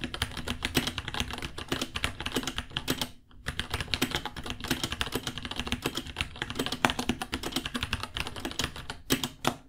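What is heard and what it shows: Both hands type with their fingertips on a small white 66-key mechanical keyboard with Gateron Brown switches, white plastic keycaps, a hollow case and pink underglow, resting on a white desk; the board costs $60. Rapid, clacky key taps with bright, short clicks and a low thock roll on steadily, with a brief pause around three seconds before the typing resumes.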